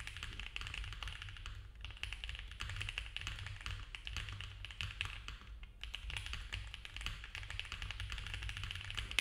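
Fast typing with both hands' fingertips on a compact, foam-filled mechanical keyboard with cream ABS keycaps, a dark case and a polycarbonate plate. It makes a dense, continuous stream of short, dry, bright clacks centred around 2.6 kHz over a steady low hum, with a brief lull just before the six-second mark.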